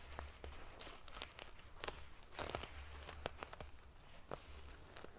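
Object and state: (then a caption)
Metal-sequin pillow. Long nails scratch quickly across a large padded pillow covered in rows of silver metal sequin pieces. The result is a run of sharp, bright, prickly clicks and rustles over a steady low hum.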